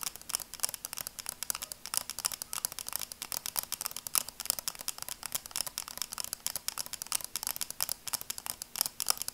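Long nails tap rapidly and steadily on the frame of red and black plastic sunglasses, about sixty light hits in just over nine seconds. Each tap is a dry, bright click with almost no low end and no ring, making a quiet, crisp patter.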